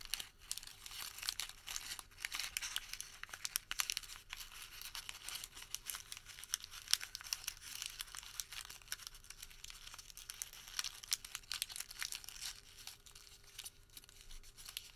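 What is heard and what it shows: A crumpled ball of white thermal paper receipt is pressed and rolled between the fingertips of both hands. It makes a steady, quiet stream of dense, crisp crinkles and crackles that are bright and high, with almost no low end, for the whole clip.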